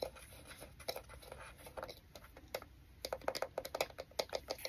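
Fingertips and nails tap on the lens ring and front of a small, hollow black plastic compact digital camera with a round lens barrel, held close to the microphone. Quiet, light scratchy taps come first, then a quicker run of sharper, hollow clicks centered in the mid range that die away almost instantly.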